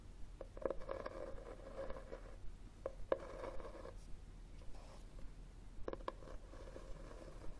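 Fingernails scratch and tap the cover of a red, textured, cloth-covered hardcover book standing upright on a table. Soft, dry scratching bursts alternate with sharp, brief taps at an irregular pace, the scraping carrying a faint tonal hum around 500 Hz.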